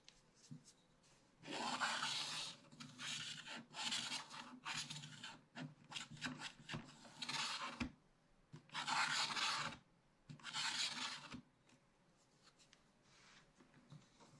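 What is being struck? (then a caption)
Wax-coated paper page scratched with a wooden stylus. A wooden stylus scratches the black wax layer off a thin coated paper page of a spiral-bound scratch-art book while the other hand holds the page flat. Bursts of bright, raspy scratching strokes come at an irregular pace, some long and steady and others short and quick, with quiet pauses and a faint steady hum between them.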